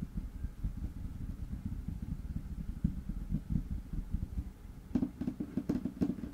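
Fingertips and short nails tap and scratch a large, flat, light wood-grain tabletop (solid, possibly laminate) close to the mic. The result is a steady stream of soft, low, dull taps and rubbing, with brighter, sharper nail clicks toward the end.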